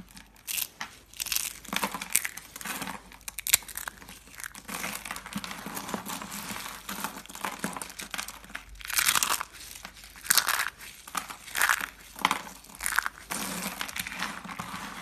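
Bare hands, one finger bandaged, squeeze, crush and rub a pile of thin, dry, brittle green and orange shaved soap curls and flakes on a dark surface into small crumbs. Irregular bursts of crisp, bright crunching and crinkling rise and fade over a quiet background, with sharper snaps standing out. The flakes break down into fine crumbs.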